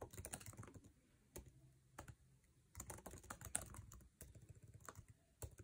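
Fingertips type on a MacBook Air keyboard with plastic keycaps in an aluminum chassis, producing quick bursts of short, sharp key clicks. The taps cluster in rapid runs with brief pauses between them, each click decaying almost instantly, leaving a low thud beneath a bright tick.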